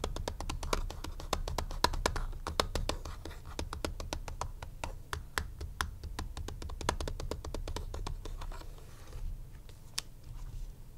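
Fingertips and short nails tap and scratch the hollow back casing of a black plastic graphing calculator. Quick, dry clicks and taps come in a rapid, irregular stream over a low rumbling background, with each hit dying away almost instantly. Between the taps, soft scratching rasps across the plastic.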